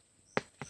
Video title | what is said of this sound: SARAP NG LANGKA AT LABONG | Malagabong, parang tabaw na tiyan.